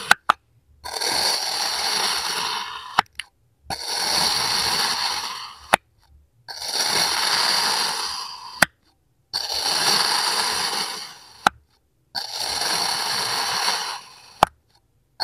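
A serrated steel kitchen knife held by hand slices and scrapes thin layers off a solid lime-green kinetic sand mold shaped like a small car on a white table. Five long, bright, gritty scrapes of about two seconds each are heard, separated by short silences. Sharp clicks mark the start and end of the strokes.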